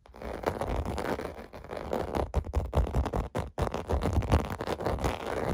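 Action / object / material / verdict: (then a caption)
scrape / plastic bubble bath mat / plastic / none. Fingers scratch the surface of a clear blue plastic bubble bath mat with bubble domes, resting on carpet. It makes a steady, rough scratching and rubbing texture with quick bursts, dominated by low, muffled energy with very little brightness, and brief drops in level, most noticeably around 3.5 seconds.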